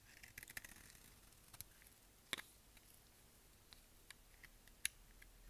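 A utility knife blade scrapes a solid, translucent amber glycerin soap bar held in the hand. The dry soap gives quiet, irregular, crisp high clicks and short scratchy scrapes over a soft hiss, each one dying away almost instantly.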